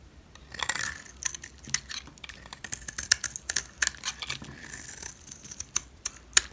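A knife scrapes and shaves the face of a solid yellow rectangular bar of dry soap. Quick, dry, crisp scrapes and clicks stand out, mostly high and bright with almost no low end. Each stroke stops abruptly with no ring.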